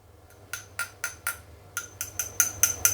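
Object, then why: Metal insert inside a polymer pistol frame. A metal piece taps ten times on the metal strip inside the polymer frame of a Tokyo Marui Hi-Capa 5.1 D.O.R GBB airsoft pistol. The taps are bright, high-pitched clinks with a short ring that dies away quickly, each tap a little louder toward the end. The part sounds like metal.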